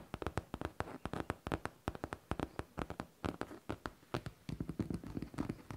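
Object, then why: Faux leather backpack. Long teal nails tap fast on a hollow pink faux leather backpack, giving about 37 quick, dry, low thuds in uneven clusters. Each tap dies away almost instantly, with little high brightness.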